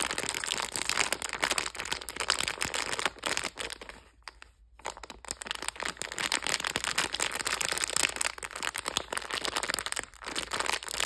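A sealed, hand-size red Shiba Lovey Dovey plastic candy bag full of gummy and marshmallow hearts is held in both hands and squeezed and crinkled by fingers with long red nails. Dense, bright, crackling plastic crinkles run almost continuously, with a brief near-silent pause a little before the middle before the crinkling resumes.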